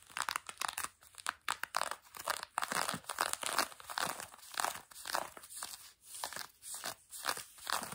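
Long nails on both hands scratch the textured fabric of blue denim jeans stretched over a knee. Quick, dry rasping strokes come in dense bursts, each a bright, papery scrape with almost no low end. The scratching never stops, rising and falling across the clip.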